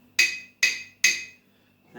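A ceramic mug holding a little water is tapped three times with a spoon, each tap giving a bright, high ringing tone near 2.5 kHz that fades within about a third of a second. Adding water changes the mug's pitch.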